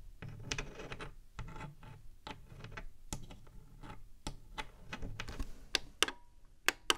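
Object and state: Hollow plastic game console.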